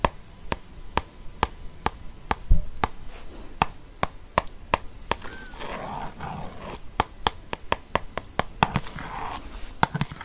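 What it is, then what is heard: Glossy paper book cover. A ballpoint pen taps and traces across the glossy paper cover of a Rome guide book held in one hand. Sharp, dry clicks repeat at a steady pace, broken by soft scratchy sweeps of the pen sliding over the cover.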